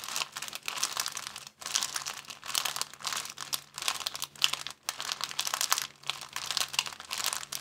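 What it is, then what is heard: Clear plastic bag crinkled. An empty, thin clear plastic bag is held at the edges and crinkled with the fingers. Dense, bright crackling and rustling come in continuous bursts, with a couple of brief near-silent pauses between them.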